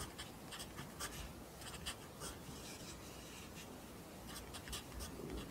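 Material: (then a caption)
Paper. A wooden pencil held in the fingers writes Korean handwriting continuously on an open lined paper notebook resting on a desk. The graphite tip scratches across the paper in a soft, steady rasp with brief bright strokes rising above a low, quiet background hum.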